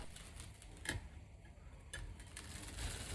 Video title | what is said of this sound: 📣YEPYENİ YÖNTEMLE EN EKONOMİK EN LEZZETLİ ÇITIR BURMA KADAYIF / burma kadayıf | 依然酥脆紧实。你看，它切不动。